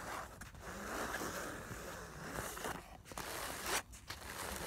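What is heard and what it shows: Long nails quickly scratch and rub the surface of a filled, soft black nylon fabric makeup bag. The result is a continuous dry, bright rustling scrape with a few sharper swipes near the end.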